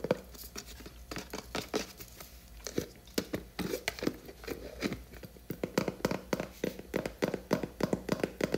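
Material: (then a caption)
Plastic. Long nails tap and scratch the black lid and sides of a large blue plastic Skala hair cream tub, likely full. The result is a rapid, irregular run of short, dry plastic clicks and knocks with a hollow tone around 500 Hz, mixed with brief scratchy rasps, over a faint steady low hum.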